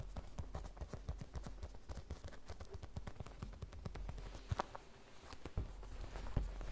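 Long red nails rapidly tap and scratch a small, flat, hollow cartoon-print vinyl zip pouch with a beaded charm as it rests on a wooden table. The result is a dense run of soft, dull, low-heavy clicks that die away quickly, with a few sharper, brighter taps standing out near the end.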